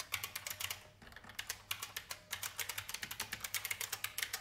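Fast fingertip typing on a vintage beige IBM mechanical keyboard with plastic keys gives a rapid run of sharp, bright clicks. Each keystroke is dry and very short, with almost no low end, and the typing briefly thins out around the one-second mark before picking back up.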